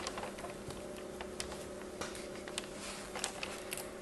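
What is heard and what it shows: Fingertips with long white-tipped nails squeeze, crumble and rub apart a large soft pile of loose purple and orange kinetic sand, a solid granular mass. A quiet, continuous gritty rustle runs throughout, broken by short, bright crackling ticks as the grains break apart, over a faint steady hum.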